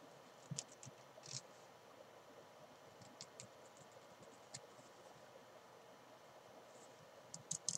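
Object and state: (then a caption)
Fabric climbing chalk bag being scratched. Long painted nails scratch and rub the fabric of a small, hollow, black and green padded nylon/polyester climbing chalk bag lying on a desk. Soft, bright scratching and rustling sits under a low hiss, broken by about nine short, sharp scrapes that stop almost instantly. The last few cluster together near the end.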